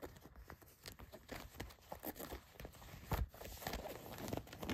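Long white nails scratch the back pocket, seams and stitching of a pair of blue denim jeans. The result is a quiet, steady run of short, dry rasping strokes over a soft low rumble, with a louder scratch about two-thirds of the way through and a faint steady high tone underneath.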